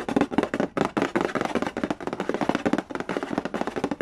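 Fingertips and nails scratch and trace across the glossy lid of a hollow cardboard Candy Land game box resting on a wooden floor. A rapid run of dry, short, hollow-sounding taps and scratches comes in quick clusters with almost no ring, centered in the mid range with little deep bass.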